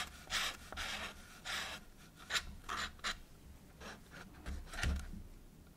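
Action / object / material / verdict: scrape / cardboard tube / cardboard / none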